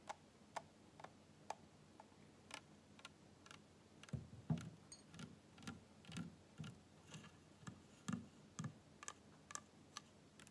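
Fingernails tap a small, full PET cola bottle and its white plastic cap while the bottle is tilted in the hands and then set upright. Sharp, light clicking taps come at a steady, clock-like pace. About four seconds in, they give way to louder, duller, low knocks mixed with bright clicks, all fairly quiet with very short decay.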